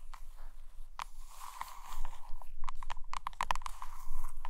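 Long green nails scratch and tap the glossy picture cover of a hardcover photo book resting on a blanket. Soft, continuous scratching with a steady mid-range tone is punctuated by sharp, crisp taps that cluster more densely toward the end.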